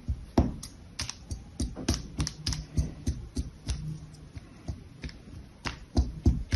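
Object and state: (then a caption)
Kinetic sand slab being cut. A metal spatula or scraper blade, held in both hands with long yellow nails, is pressed and dragged across a flat, solid, palm-sized patty of orange kinetic sand on a pink sheet, cutting into it. About twenty short, dry crunches with sharp bright edges and a dull low thud come at an uneven, quick pace. Each dies away almost at once over a soft hiss.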